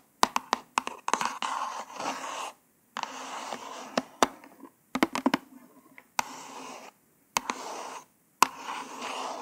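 Long nails tap and scratch across a small white printed cardboard hanger card with a plastic window holding orange false nails. Sharp, crisp clicks alternate with dry, raspy scratching strokes centred around 1 kHz, broken by short silent pauses. The sound stays light and close, with no low rumble and almost no ring after each tap.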